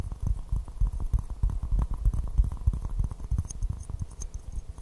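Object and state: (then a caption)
Porcelain teacup tapped and scratched. Fingernails tap and scratch an empty white porcelain teacup with a pink rose print, held upside down in both hands. The result is a quick, irregular run of soft, dull, low taps with almost no ring, mixed with faint brushing scratches.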